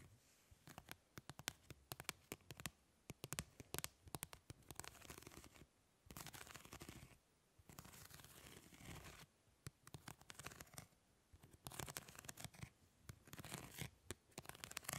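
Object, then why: Thin plastic mesh grid sheet. Long nails scratch and tap across the grid surface of a thin, flat, round perforated plastic mesh sheet held upright in both hands. Quick, dry, bright clicks come in rapid clusters, alternating with stretches of steady raspy scratching that fill the whole range from low to high.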